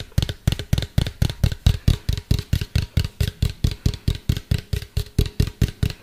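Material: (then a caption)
Plastic. Fingertips and nails tap a medium, hollow, white plastic cylindrical container held close to the mic. About 29 quick taps come in a steady, fairly even rhythm. Each one is a deep, hollow thump with a bright clicky edge that dies away almost at once.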